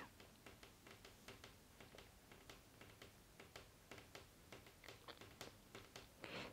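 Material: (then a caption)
Glass. Fingertips with short nails tap repeatedly on the glass screen of a full-size iPad lying flat on a wooden table, a thin solid slab with a glass screen and metal back, while colouring by number. About 21 light, sharp ticks with bright clicky tops sit over a low, steady background hum, ending in a slightly louder rustling brush.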